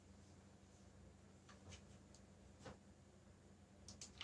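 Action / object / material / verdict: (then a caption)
tap / plastic mechanical keyboard / plastic / none. Fingertips type fast on the keys of a backlit black plastic mechanical keyboard, producing a few short, bright, sharp clicks scattered over a quiet, steady low hum. Each click is dry and dies away almost instantly.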